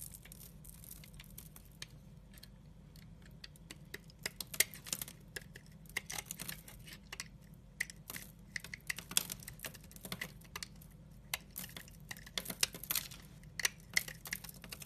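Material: Glycerin soap.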